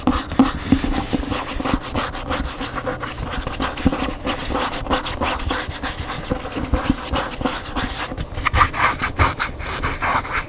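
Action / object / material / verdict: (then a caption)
scrape / paper hardcover book / paper / none. Fingernails scratch along the glossy white back cover and spine edge of a large hardcover cookbook held upright, with a thick block of paper pages. The result is a steady, dry rubbing and scratching sound, full of quick, crisp ticks with a woody, papery body and soft, bright edges.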